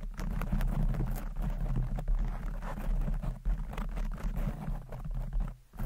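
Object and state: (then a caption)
Foam microphone windscreen being scratched. A medium-sized red foam windscreen, soft porous foam over a hollow grille on a microphone, is scratched fast with the long pointed acrylic nails of both hands. The result is a dense, continuous rumbling scratch, almost entirely deep and boomy with a steady low hum, broken by quick brushy flicks and a brief dip in level near the end.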